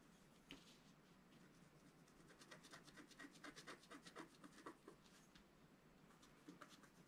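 A wooden stylus scratches the black coating of a flat scratch-art paper card on its right side. The result is a quiet series of dry, rasping scratches in short bursts with bright hiss. The strokes come at an uneven pace, with sharper ones standing out in the middle of the clip.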